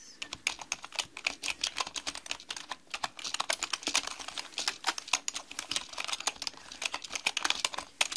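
Both hands with long nails and fingertips type continuously on a black mechanical computer keyboard with plastic keycaps. A rapid, uneven stream of sharp, bright clicks and clacks follows, each dying away almost instantly, with almost no low end.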